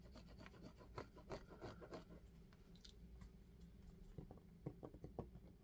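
Fingertips tap and rub an empty black sneaker with a synthetic upper and a thick rubber sole, held in both hands. Soft, dull, low taps and brushing scrapes come in quick clusters over a steady low hum, with short decays and little brightness.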